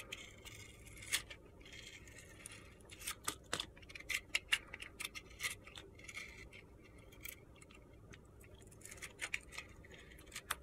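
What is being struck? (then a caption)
Bar of soap scraped with a metal blade. A metal box-cutter blade scrapes the coating off a solid, palm-sized bar of soap coated in purple glitter, revealing the white soap beneath. The result is a quiet series of bright, gritty scrapes and sharp little ticks, each dying away almost instantly, with a high, crisp edge centred around 2.8 kHz and scattered between soft pauses.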